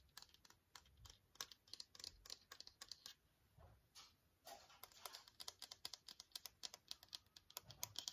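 Long fingernails tap and scratch a long, hollow, transparent hard plastic case held horizontally, making quick, sharp, bright clicks. Short scraping swishes run between the taps, and each click dies away almost at once. The whole pattern stays quiet and high-pitched, with almost no low end.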